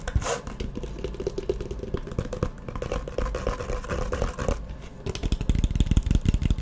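A hollow, map-print faux leather hard Firmoo eyeglasses case is opened and closed, then tapped and scratched with long nails. Dull, low, hollow knocks mix with steady scratching, and the clip ends in a faster run of close, sharp taps.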